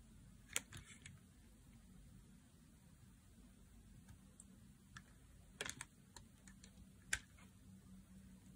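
A solid, dry blue oval bar of soap is held in the hand and shaved with a knife blade. Short, crisp, bright cutting and scraping clicks come at irregular intervals, some in quick clusters, over a quiet low background hiss. Each stroke dies away almost instantly.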